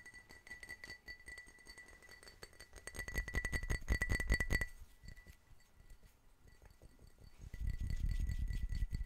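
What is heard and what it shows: An empty, clear, medium-sized hollow drinking glass is held in both hands and tapped rapidly with fingertips and nails. The quick clinks carry a bright ring near 2 kHz, growing louder and denser midway before easing off. Near the end, a duller, lower-pitched tapping swells up.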